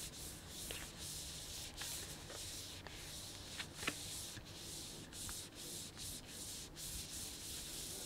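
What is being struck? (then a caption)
Plastic snack bag with sunflower seeds. Fingertips and nails rub and scratch the surface of a printed plastic snack bag with sunflower seeds inside. The result is a steady, bright, hissing crinkle and rustle, broken by a few sharper crackles.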